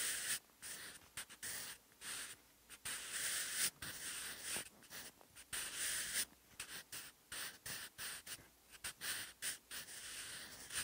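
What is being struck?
Graphite pencil on textured notebook paper.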